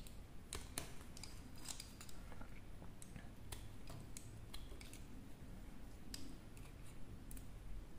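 A small metal blade carves thin chips from a hand-sized, solid bar of dry soap, pink with a teal rim, held in one hand. Quiet scraping and crisp cutting snaps repeat steadily, each one a short, dry, bright tick over a soft low background hum.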